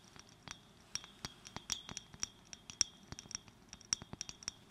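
Long fingernails tap and click on a small clear glass bottle held in the fingers. About 18 quick, quiet, irregular taps give short, bright glassy clicks with a faint high ring that dies away almost at once.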